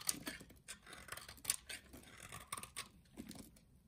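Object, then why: Solid soap bar cut with a knife. A utility knife shaves and cuts pieces from the end of a solid orange soap bar. A rapid series of short, crisp, bright scraping and crunching slices is heard, with little low end and each cut dying away almost instantly.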